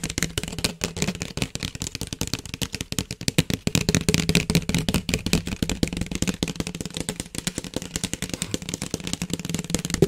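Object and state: Plastic flexible duct hose.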